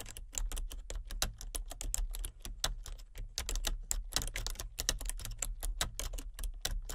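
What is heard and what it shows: Fingertips with long nails tap rapidly and steadily on a full-size plastic computer keyboard with color-changing backlit keys and a hollow body. Each tap is a short, bright plastic click that dies away almost at once, over a steady low hum underneath.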